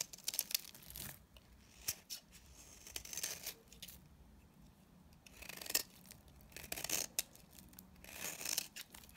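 A utility knife blade scrapes brittle curls off a dry, palm-sized coral-orange bar of soap held in the hand. Crisp, bright scraping and crackling comes in short bursts of varying length with quiet pauses between them. The sound is thin and high, with almost no low end and very short, dry decays.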